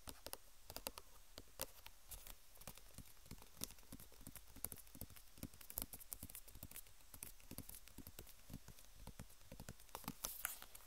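A white plastic squeeze tube of cream with a red cap band, likely full, is held horizontally in both hands and tapped with long nails and fingertips. Quick, irregular, bright clicks patter on over a faint low hum, each one short and dry, with the taps bunching more densely near the end.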